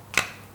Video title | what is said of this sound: เครมบูเล Classic Crème Brûlée : พลพรรคนักปรุงHOMECOOKED | เอาหลังช้อนเคาะไปได้ยินเสียงไหมครับขอให้แตกเลยครับ